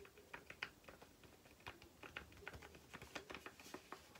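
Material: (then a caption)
Paper. A small, flat white paper or card sachet is tapped quickly with long painted nails. The result is a rapid, uneven run of light, dry clicks with a crisp, bright edge that sound much like typing on a keyboard. Each tap is quiet and dies away almost instantly.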